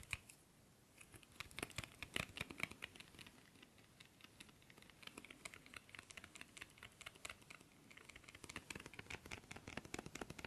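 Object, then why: Thin cardboard incense stick box. Fingertips and nails tap rapidly along the surface of a long, thin, hollow cardboard box of Black Opium incense sticks with red and black print, held in both hands. The result is a quick, quiet stream of short, dry, bright clicks and patters that die away almost instantly, with little low-end body.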